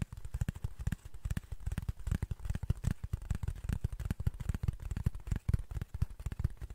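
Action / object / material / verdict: tap / cardboard sheet / cardboard / none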